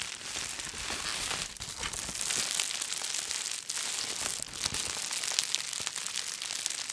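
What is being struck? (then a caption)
Plastic bubble wrap sheet. A large sheet of clear, light, air-filled plastic bubble wrap is held up close and squeezed and crinkled with the fingertips of both hands. It makes a steady, bright, dense crinkling full of quick crackles and sharp little snaps, with almost no low end and no ring after each snap.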